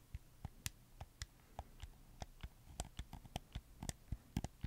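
Fingertips click the buttons and joysticks of a red camo PS4 controller made of hollow plastic. A string of short, dry, irregularly spaced clicks, each with a low thump and a bright snap that dies away almost instantly, sits over a faint low hum.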